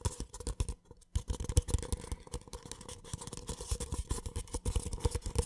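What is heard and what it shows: An empty white cardboard cup, held on its side, is tapped quickly and irregularly with fingertips and nails. The taps make dull, low, hollow thuds with light papery clicks, each dying away almost at once, with a brief pause about a second in.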